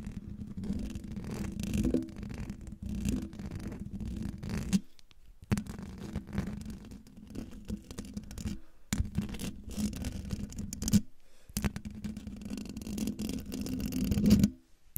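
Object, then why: Metal mesh microphone grille. Long dark fingernails of both hands scratch the hollow metal mesh grille of a silver microphone, making a close, continuous raspy scraping with a low humming buzz underneath. The scratching runs in bursts, with brief silent pauses near 5, 9 and 11.5 seconds, then stops abruptly just before the end.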